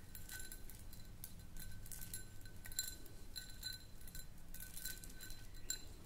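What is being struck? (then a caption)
Small empty glass jar. Long nails tap and click on a small, round, empty clear glass jar. The result is a steady run of quick, light clinks with bright, high ringing tones that fade fast, over a soft low rumble.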